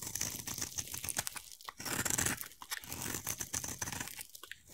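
A utility knife blade scrapes and carves a solid, hand-sized oval yellow bar of soap, shaving it. The sound is a dense run of bright, dry crunching and tearing scrapes with short gaps between strokes. Most of the energy sits high, and each stroke stops almost at once with no ring.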